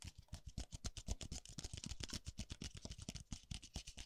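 A single small white disposable paper cup, hollow and empty, is held in one hand while the fingertips of the other hand tap and brush its base and rim, moving it from side to side close to the microphone. About 28 quick, dry, hollow taps in a loose, uneven rhythm give soft low thumps with bright papery brushing. Each tap dies away almost at once.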